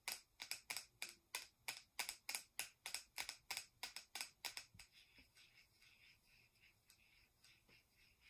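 Long acrylic nails tap and click on the sides and screw lid of a small, round, hollow-looking plastic cosmetic powder jar with a metallic gold-silver finish. About two dozen quick, bright, hollow clicks come in a loose, rapid rhythm, with almost no low end. The taps are sharp and distinct for about five seconds, then turn into softer, fainter clicks.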